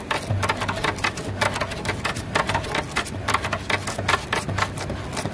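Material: Wood.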